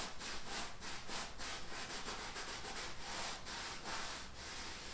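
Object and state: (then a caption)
Painted canvas, scratched. Fingertips and nails rub and scratch the painted surface of a large stretched canvas bearing an oil painting of bison, the taut fabric stretched over a hollow frame. Continuous rapid scratchy rubbing strokes carry a bright, hissy high-frequency texture in repeated short bursts.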